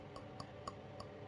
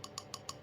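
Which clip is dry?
The second.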